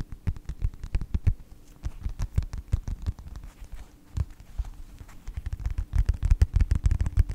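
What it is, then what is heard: Faux leather wallet. Fingertips tap and scratch the cover of a closed yellow faux leather wallet with a snap strap. Irregular, dull, low thuds and soft scratches come close together in bursts throughout, fading briefly around the middle before picking up again toward the end.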